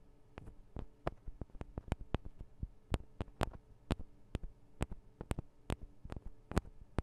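Long acrylic nails tap on the two small cylindrical metal microphone capsules of a Tascam DR-40 recorder, giving about twenty-two quick, dry clicks at an uneven pace. Each tap is a sharp, bright tick with a dull low thump that dies away almost instantly, over a steady low hum.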